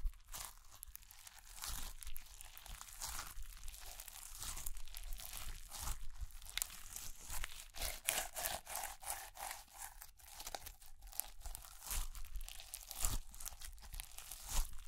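A small ball of pearl slime, a clear slime filled with plastic beads, is held in the hands while long nails tap and press into it before it is squeezed. Dense, rapid crunchy crinkles and bright crackling pops from the beads repeat throughout over a soft low rumble, with each burst dying away almost instantly.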